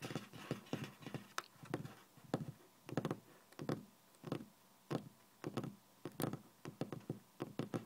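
Fingertips and nails tap and drum on a flat, solid, speckled beige laminate office desk top, from a hand wearing a ring and a metal watch. About 27 short, dull, knock-like hits come in irregular clusters, each dying away almost at once.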